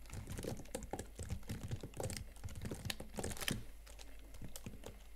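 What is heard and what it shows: Both hands type fast on the chiclet plastic keys of a slim Huawei MateBook X Pro laptop keyboard, with fingertips and painted nails tapping the keys. A quick, uneven run of soft, dull clicks and light thuds plays at low volume, each one dying away almost at once, with faint bright ticks on top.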